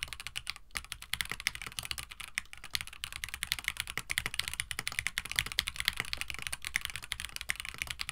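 A compact 65% KBD67 Lite mechanical keyboard with Gateron CJ switches, an FR4 plate, a hollow white plastic case and blue-and-white PBT keycaps, resting on a desk mat, is typed on continuously with the fingertips of both hands. The keystrokes are short, crisp, bright clacks with a focus around 2.1 kHz, landing in a rapid, steady stream with almost no ring and a faint low thud underneath.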